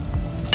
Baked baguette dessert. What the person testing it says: You can hear how crispy it is.